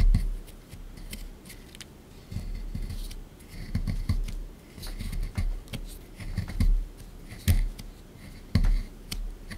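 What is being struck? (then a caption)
Plaster excavation block. A small pointed scraper digs and scrapes at a solid, rectangular plaster or gypsum dig-kit block sitting in a shallow tray, partly dug out with loose crumbs, while one hand steadies the tray. Repeated gritty scratches and crumbly bursts come through with dull low thumps, rising and falling in short uneven strokes.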